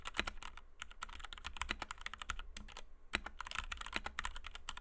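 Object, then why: Plastic mechanical keyboard with PBT keycaps. Fingertips of both hands type rapidly on a compact white 60% Kemove DK61 mechanical keyboard with Gateron Red switches, PBT doubleshot keycaps and a plastic case, resting on a desk mat. A dense, uneven stream of short, bright clacks fills the clip, each dying away almost instantly over a faint steady low hum.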